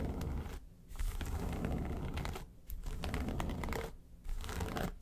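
Long nails scratch the lid and sides of a small, hollow, yellow textured faux-leather makeup suitcase. The result is dry, raspy, crinkly scratching with a heavy low thump from the hollow case, in three bursts separated by brief quieter gaps.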